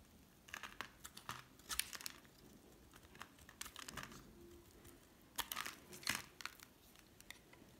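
A solid, oval, pink hard soap bar is held in the hand and scraped and shaved with a metal utility blade, coming off in brittle flakes. The sound is a quiet run of crisp, dry scraping and crackling bursts, bright and hissy with almost no low end. The bursts come in uneven clusters, and each stops almost instantly.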